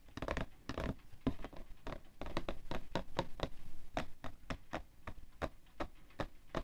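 Fingertips and nails tap and scratch the side of a printed, hollow cardboard tissue box full of tissues resting on white fur. Quick, uneven taps land as short, dull, low thuds with brief clicky edges, mixed with soft scratching rustle between them. Each tap dies away almost instantly, leaving a muted, papery patter.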